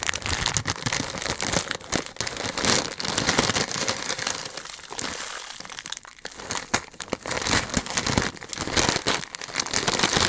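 A medium-size green Hershey's plastic film candy bag holding candy is handled and crinkled by fingertips close to the mic. It gives a dense, bright crinkling and crackling that runs almost without a break, with a brief quieter stretch around the middle.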